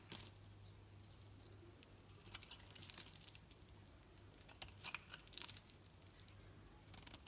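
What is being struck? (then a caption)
Bar of soap shaved with a knife blade. A knife blade shaves curls from a solid green painted Dalan soap bar held in the hand, producing quiet, bright, crisp scraping and crinkling strokes in irregular bursts. A steady low hum runs underneath throughout.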